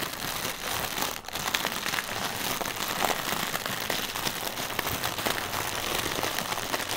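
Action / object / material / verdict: scrape / inflated plastic air cushion / plastic film / none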